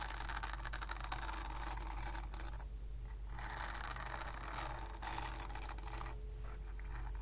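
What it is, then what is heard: Silicone body scrubber scratched with nails. Long nails scratch across a purple silicone body scrubber with nub bristles, making a dense, steady scratching rustle in bursts with brief pauses. A constant low hum runs underneath, and the bright scratching texture stays at an even, quiet level throughout.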